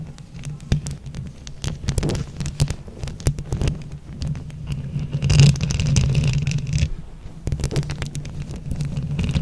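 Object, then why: Microphone grille covered in glued plastic flower buttons. Long acrylic nails scratch and tap a hollow microphone grille covered in glued plastic flower buttons, with hands held close around it. The result is a dense, low, rumbling scrape with frequent sharp clicks and taps over a steady low hum, swelling into a louder, brighter scratching burst in the middle.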